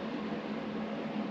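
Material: Nothing is struck.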